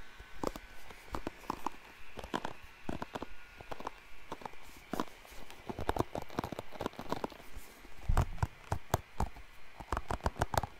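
Fingertips and nails scratch and rub the dense bristles of a hand-sized blue plastic paddle hairbrush held near the microphone. The result is a steady run of short, crisp scratching bursts with bright crackle and soft low thumps, some louder scrapes standing out toward the end.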